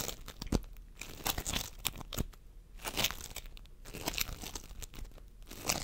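Fingertips of both hands squeeze, press and pull a mound of pastel floam sculpting foam, polystyrene microbeads in a sticky binder, resting on a wooden table. Close, quiet crinkly crunches and sticky tearing pops come in rapid bursts, bright with some low thump.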